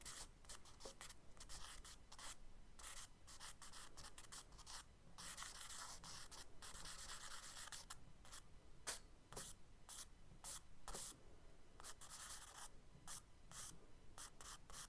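A charcoal stick scratches repeated long ray strokes across a page of a spiral kraft paper sketchbook while fingertips stay in contact with the paper. The result is a quiet, steady run of dry, bright scratching rasps in short bursts, with a soft rubbing hiss between strokes.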